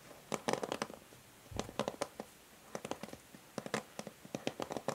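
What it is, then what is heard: Plastic paddle hair brush back tapped with nails. A plastic paddle hair brush lies turned over to its hollow grey matte plastic back while long nails tap and scratch across it. Quick, dry clicks come in uneven bursts with brief bright scratching and a faint hollow tone near 520 Hz, each fading almost at once between quiet pauses.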